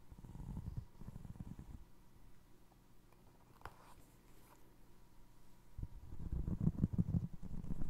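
Fingertips tap the upper and scratch the ridged sole of a single navy blue foam resin Crocs clog. The sound is a low, muffled, rumbling rustle with bursts of dense scratching at the start and end and a quieter stretch in between. A faint brighter click stands out near the middle.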